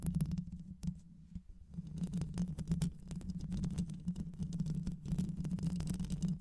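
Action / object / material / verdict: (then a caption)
scrape / microphone with metal mesh grille / metal mesh / none. Long nails scratch and tap the mesh grille of a black hollow microphone, likely metal, throughout the clip. The result is a dense, muffled rumble of low scratching and tapping with a steady low hum around 160 Hz, briefly quieter near the second mark.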